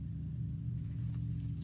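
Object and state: Nothing is struck.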